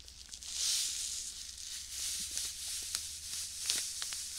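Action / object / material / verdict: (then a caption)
shake / small plastic bag filled with sand / plastic, sand / none. A small clear plastic bag full of white sand is squeezed and rubbed with fingertips close to the mic. Soft, bright waves of shifting sand and plastic crinkle swell and fade, broken by sharp little crackles, over a faint low hum.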